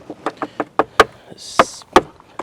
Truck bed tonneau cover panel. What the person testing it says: sounds solid some people say it was just plastic